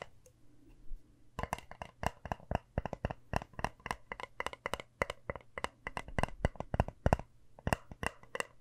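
Long nails rapidly tap and scratch a small, round, hand-sized compact with a hammered, shiny copper-toned metal surface. After a quiet first second or so, a quick, uneven run of sharp, dry clicks follows with very little ring, over a faint low hum.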